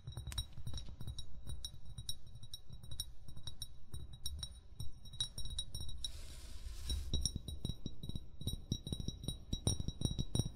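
An upright, hollow amber (brown) glass bottle is tapped rapidly with short fingernails and fingertips. The taps make dull low thumps topped by bright, glassy clinks with steady high ringing tones, and each tap dies away almost at once. A soft hiss briefly rises in the middle before the tapping picks up again.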